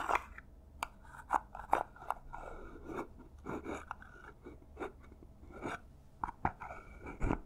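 Long nails scratch rapidly across the textured paper surface of a small, hollow, silver paper-covered cardboard gift box. The result is a quiet run of dry, crackly scrapes with short, sharp peaks centered around 800 Hz. Each scrape dies away almost instantly.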